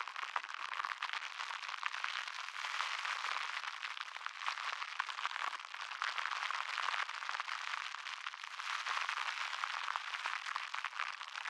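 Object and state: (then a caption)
Crinkled plastic cling wrap. A small balled-up piece of thin plastic cling wrap is held in both hands close to the microphone, squeezed and rubbed with the fingertips. It makes a dense, continuous crinkling crackle of tiny sharp snaps, bright in the mids and highs with no low end, at a steady level throughout.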